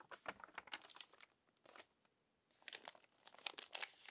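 Long orange fingernails and fingertips turn and flatten the crumpled, smoothed pages of a thick glossy paper magazine lying open. Quiet, bright crinkles and crackles come in uneven clusters with near-silent pauses between, and there is no low rumble. Each crackle stops almost instantly.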